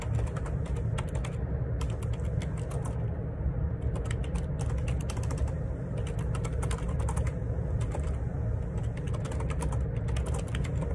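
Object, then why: Plastic computer keyboard. Fingertips type on the plastic keycaps of a black plastic wireless Bluetooth ergonomic split keyboard (Perixx Periboard 612) with a hollow housing, lying on a grey laminate desk. Quick bursts of short, bright key clicks come in steady runs with brief pauses, over a constant low rumble.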